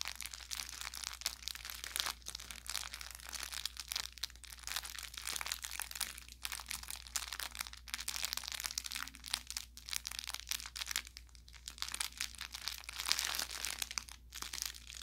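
An orange velour plush carrot cat toy with crinkle filling is squeezed and scratched with the thumb and fingertips. It gives a steady run of bright, crackly crinkling and crunching, with short pops throughout. A faint low hum sits underneath.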